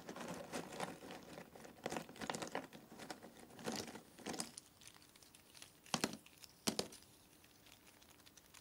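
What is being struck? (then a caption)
Cardboard jigsaw puzzle pieces. A hand scoops a handful of cardboard jigsaw puzzle pieces from a box, drops them back onto the pile, and stirs them. This makes a dense, dry patter of light clicks and crinkly rustling for the first few seconds. It then quiets to soft shuffling broken by two sharper, brighter clacks near the end.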